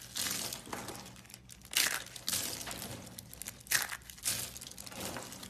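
Thin, dry, brittle green carved soap curls are crushed and broken between the fingers of hands with long blue painted nails. The result is bright, crisp crackling and crunching in uneven bursts, with little low end.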